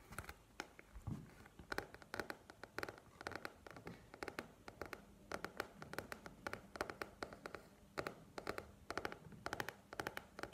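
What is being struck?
Paperback book with glossy card cover.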